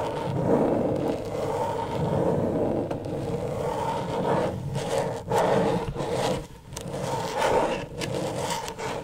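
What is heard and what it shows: Long stiletto nails scratch fast and hard across the plastic surface of a flat, thin, backlit rectangular LED tracing pad. The result is a steady, rough scraping texture concentrated in the low-mids, with little brightness and a few brief dips between strokes.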